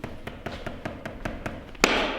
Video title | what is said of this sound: Pisos en el chalet 🔨🚧 - de la alegría al desastre en 48 horas - Instalación, Errores y Soluciones | está hueco O sea no hay pegamento debajo no hay suficiente Así que el porcelanato Está bailando no está pegado